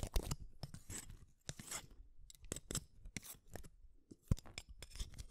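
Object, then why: Wooden colored pencil. A solid red wooden colored pencil is shaved with a small metal blade set in a yellow holder. A rapid series of short, dry scraping strokes is heard, each a brief bright rasp with a low thud beneath, stopping dead with almost no ring.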